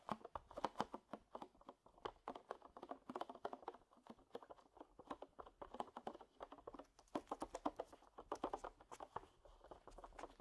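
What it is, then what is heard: Duct tape roll. Fingertips and short nails tap and drum on the top face and edge of a medium roll of green cloth-backed duct tape with a cardboard core, lying flat on a grey knitted mat and possibly still in thin plastic wrap. The result is a quiet, rapid patter of dry, hollow midrange taps in uneven bursts, each one dying away almost instantly.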